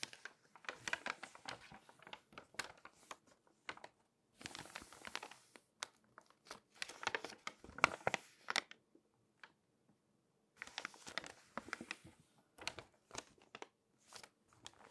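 Fingers lift and turn the pages of an open glossy paper magazine while long nails rub across the paper. Quiet bursts of bright, crisp crinkling and rustling alternate with sharp tapping clicks and brief silences. The bursts are strongest around the middle and again near the end.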